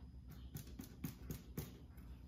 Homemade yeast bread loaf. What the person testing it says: I think it's done. It's a little hollow.